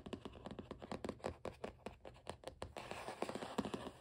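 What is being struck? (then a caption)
Cardboard sketchbook cover. Fingertips and short nails scratch, tap and rub across the blue cardboard cover of a closed Canson XL spiral sketchbook. A rapid, dry series of short taps and scratches comes first, then settles into a denser, continuous rubbing texture with a few sharper taps toward the end.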